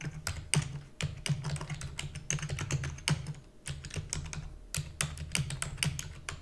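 Fingertips with long natural nails type rapidly on a black full-size plastic computer keyboard with hollow key housing. The result is a steady stream of quick, bright clicks over a hollow, low plastic thud, each tap dying away almost instantly.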